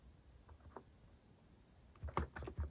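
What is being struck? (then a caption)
Plastic mechanical keyboard. A compact white-case mechanical keyboard with cream and orange cat-themed plastic keycaps, sitting on a wooden desk, is typed on continuously with the fingertips. Soft, dull key taps with short ring and weight in the low end come at first, then a quick cluster of louder taps near the end.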